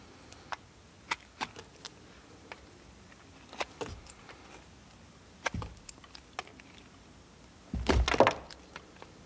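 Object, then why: Soap bar cut with a steel blade. A small solid blue bar of soap is held in the fingers and shaved with the steel knife blade of a multitool, peeling off thin flakes. Short, sharp scraping clicks come at irregular intervals against a quiet background. Near the end a longer, louder burst of cutting is heard.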